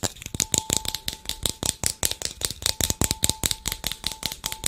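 A small white plastic bottle with loose contents is shaken and turned in the hands close to the microphone. About two dozen quick, bright rattling clicks follow one another in an uneven rhythm, each dying away almost at once. A faint steady tone sits underneath.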